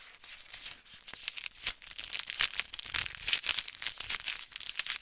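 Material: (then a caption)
Plastic. A small flat white-pink printed plastic wrapper packet is crinkled and bent with fingertips and long nails close to the mic. Dense, bright crackling and crinkling snaps come in quick bursts throughout, with almost no low end.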